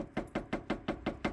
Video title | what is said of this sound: Car Care : Soundproof/Sound Deadening PT 3 : Subaru Engine Bay And Hood, Quieting Drivetrain Noise | If you tap and it makes a rattly noise, then go ahead and apply some material.